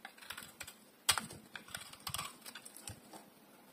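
A metal utility blade shaves and carves a solid oval bar of dry green soap held in one hand. Short, crisp, bright scraping and clicking bursts follow one another quickly, each dying away almost at once, with one sharper, louder cut early on.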